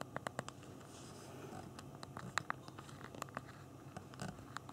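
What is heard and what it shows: Both thumbs type on the small hard plastic physical keyboard of a BlackBerry Q10 phone, giving quick, dry, repeated key clicks. The clicks are short and bright, in irregular bursts over a faint low hiss.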